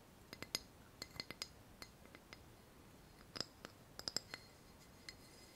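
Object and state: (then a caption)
Ceramic saucer. A small pale ceramic saucer, held upright, is tapped on its underside with long fingernails. Sixteen quiet, sharp clicks come in uneven bursts, each with a bright, high ring that dies away almost instantly.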